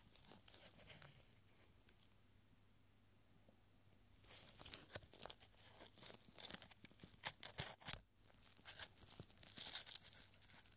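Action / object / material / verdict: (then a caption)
scrape / thin paper strip / paper / none. A small scroll, a narrow strip of thin, light yellowed paper reading "Yes," is stretched open between gloved fingertips and then rolled back up. Soft faint rustles give way to a quiet pause, then sharp, bright crinkling and crackling bursts as the paper is handled and rolled.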